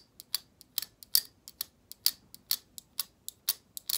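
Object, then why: Plastic hair brush bristles. Long acrylic nails flick along the stiff plastic bristles of a black plastic hair brush held horizontally, making a quick, irregular series of sharp, dry ticks. Each tick is bright and high with almost no low end, and it dies away almost instantly.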